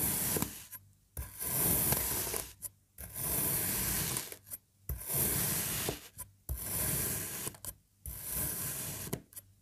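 A serrated knife slices across a solid orange kinetic sand slab shaped as puzzle pieces and already cut into strips. Repeated gritty, rasping strokes of crunchy hiss and low grind are separated by brief silent pauses.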